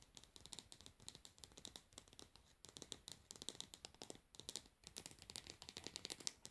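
Long nails tap and scratch the frosted plastic bottom of a plastic cosmetic jar resting upside down. Quick, dry, bright clicks come in dense bursts over soft scratchy rustling, with almost no low end and no ringing after each tap. The sound stays quiet and close throughout.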